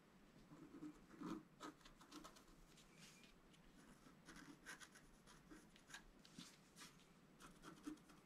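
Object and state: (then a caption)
Scratch-art paper card being scraped. A wooden stylus scratches the foliage area of a thin, solid, flat black-coated scratch-art paper sheet lying on a table. Quiet, dry scratching and rubbing strokes come in short, uneven bursts, some brighter and louder, over a faint steady hiss.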